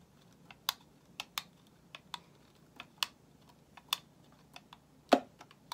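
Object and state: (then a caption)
Bar of soap being carved. A solid white bar of soap, held in the hand, is scraped and shaved with a metal utility knife blade. A steady run of short, crisp scratching clicks sounds with bright upper edges, each dying away almost instantly. One stronger, fuller cut lands near the end.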